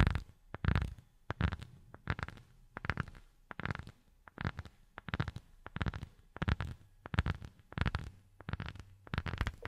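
A rubber sheet is tapped with silicone rubber finger pads, giving soft, dull, low thuds in quick, uneven bursts. Each tap dies away almost at once, with little brightness.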